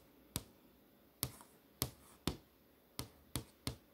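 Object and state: LCD monitor screen, solid panel.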